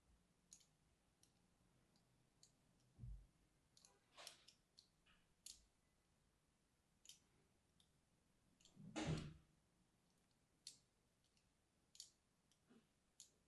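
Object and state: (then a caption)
Bar of soap being scored with a knife. A small, solid striped lilac-and-white bar of soap is held in one hand while the other hand, with long red nails, scores a crosshatch pattern into its surface with the tip of a small knife blade. Seventeen quiet, crisp, bright clicks and scratches sound in an otherwise quiet space, with two duller, lower thuds standing out near the start and the middle.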